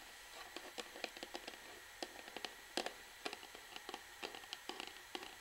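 Long fingernails of both hands tap rapidly on the front of an upright orange plastic Sunsilk shampoo bottle, then move toward its bottom. About twenty quiet, dry, bright clicks come in irregular bursts over a faint hiss, each dying away almost at once.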